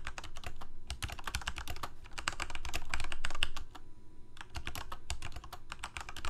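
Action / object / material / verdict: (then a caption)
tap / plastic mechanical keyboard keys / plastic / none. Fingertips of both hands type rapidly on the keys of a full-size Corsair K68 backlit plastic mechanical keyboard with Cherry MX Red switches. A fast, uneven stream of short, bright key clacks rides over a low, thumpy bottoming-out sound, with a brief quieter stretch about two-thirds of the way through before the typing picks back up.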